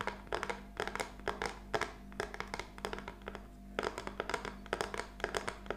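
Long nails tap and scratch a small, flat plaque of black-painted wooden popsicle sticks lying on a table. The result is quick clusters of short, dry clicks and brief scratchy strokes with a bright edge, heard over a faint, steady low hum.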